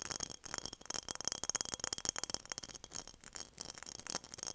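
A glass mason jar is tapped in quick, light bursts, producing a steady stream of crisp, bright clicks and clinks. The sound is mostly high-frequency, with very little low end and almost no ringing after each tap.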